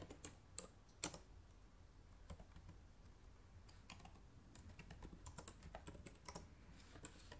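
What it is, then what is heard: Plastic laptop keyboard being typed on. Fast typing on the plastic keycaps of a black laptop keyboard with fingertips and nails, producing a steady stream of quick, sharp, bright clicks. A few louder taps stand out near the start, over a low background hum.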